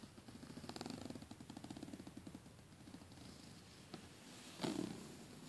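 Fingernails and fingertips scratch and tap along the teeth of a closed black plastic zipper and its edge piping on a red polyester soft suitcase. A rapid, ridged rasping of fine clicks fades to a softer scratch, then a sharp tap and a louder, brighter scrape stand out near the end.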